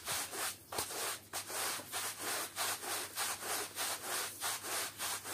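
A flat, patterned woven textile rug, covered in wet mud and soap on a wet floor, is scrubbed over and over with a long-handled bristle push brush. Steady back-and-forth strokes make a bright, wet rasping hiss that swells and fades with each pass in a fairly regular rhythm.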